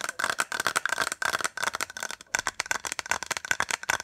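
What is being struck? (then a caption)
Small hollow plastic case. A small white hollow plastic case is held in the hands and rapidly tapped and scratched with fingertips and nails. The result is a fast, dense run of dry, clicky taps and scratchy brushes with a hollow plastic tone centered around 1.5 kHz, bright in the highs, and a slight rattle from the case.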